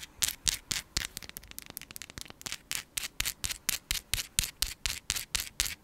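Long pink acrylic nails scratch and rub across a palm-sized chunk of raw, translucent pink rose quartz with a rough surface. A quick run of dry, bright scraping strokes, about four per second, with a brief patch of faster, lighter scratching in the middle.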